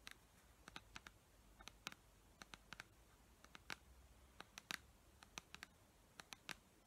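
Long nails tap and scratch the paper label and sides of a clear plastic pump dispenser bottle with liquid inside. A quiet, irregular series of sharp, bright clicks comes with faint scratchy brushing between them, and each tap stops almost instantly.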